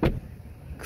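A rear door of a 2021 Audi e-tron Sportback is shut, giving a short, deep thud at the start that quickly fades into low background rumble. The closing sound is very solid.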